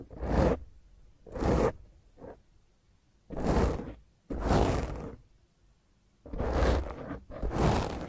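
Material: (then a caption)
Foam. Long nails of both hands, then one hand at the side, scratch a black foam microphone windscreen. Seven separate rough, rasping scrapes come through with a heavy low rumble and a bright hiss. Each is a short burst between near-silent gaps, and one is briefer and fainter than the others.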